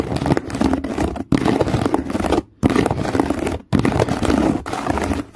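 Fingernails scratch along the weave on the side of a hollow woven plastic strap basket resting on a towel. The result is a dense, crackly rasping with a hollow low-mid body, heard as four continuous runs separated by brief silent pauses.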